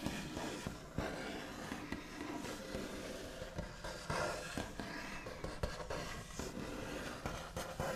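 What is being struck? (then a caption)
Wooden tabletop. The backs of long nails tap sparsely on a solid, flat white-finished wooden tabletop, with soft scratching and tracing between the taps. Each tap is a short, dull knock with a low thump and almost no ring, over a steady, faint scratchy texture.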